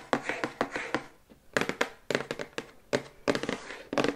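Long white acrylic nails tap quickly on the back side of a glossy printed cardboard toothbrush box held upright in both hands. About eighteen short, dry taps come in quick bursts with brief pauses, each a hollow, papery click that dies away almost at once.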